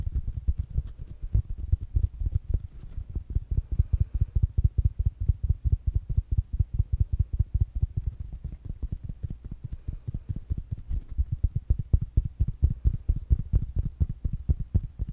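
Fingertips and nails tap rapidly on a small, rounded black smart speaker with a fabric mesh cover. The steady stream of soft, dull taps stays deep and muffled, with each one dying away almost instantly.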